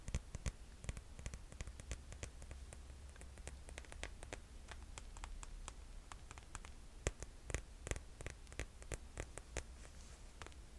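A rose-gold glitter-strap sandal with a cork-style footbed is held up while long nails tap and scratch across its straps and footbed. The result is quick, dry clicks and scratchy rustles over a steady low hum.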